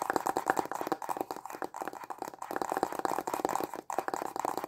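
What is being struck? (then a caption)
Small cardboard box. A small, hollow, white printed cardboard stylus pen box is held in both hands and tapped quickly with short fingernails and fingertips. It gives a rapid, uneven run of crisp, dry clicks and hollow knocks, centered in a papery midrange with almost no low end. Each tap dies away almost instantly, with only brief pauses in the steady patter.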